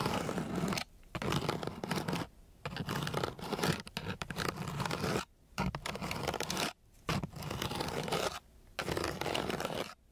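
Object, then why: Sandpaper sheet rubbed with a wooden stick. A long flat wooden stick is rubbed and scratched across a flat, gritty, coarse sandpaper sheet. It makes six rough, broadband rasping bursts with a low, grainy body, separated by short quiet pauses.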